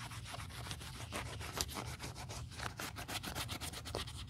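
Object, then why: Quilted leather handbag rubbed with a cotton pad. Over a steady low undertone, a cotton pad held in metal tweezers is rubbed repeatedly across the quilted leather panels of a black Chanel 2.55 Reissue quilted leather flap bag lying flat while a gloved hand holds it, part of a restoration. The result is a continuous, soft, bright scrubbing texture with brief repeated swipes.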